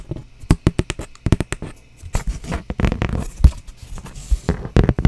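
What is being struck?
Thin cardboard sheet.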